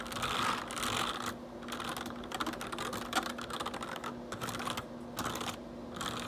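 Fingertips type and press the keys of a black plastic RGB backlit computer keyboard, producing a dense run of quick, bright plastic clicks and clacks with brief pauses. A faint steady low hum sits underneath throughout.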